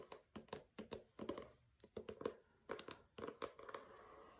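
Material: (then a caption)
Paper. Long nails tap and scratch the matte paper dust jacket of a pink hardcover book lying on a carpet. Quick, dry, quiet taps come in small clusters, each with a papery scratch and a brief mid-range knock that fades almost at once. A soft scratching hiss lingers at the end.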